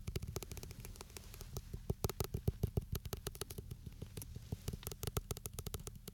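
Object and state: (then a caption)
Metal aerosol can. A green and white Gillette shaving gel can, a hollow metal aerosol can, is held upright in both hands between two microphones while fingertips and nails tap and scratch along its body. Quick, irregular, dry taps with almost no ring sit over a constant low rumble and faint bright hiss. The result is a fast, uneven stream of short metallic clicks in an additionally mixed track.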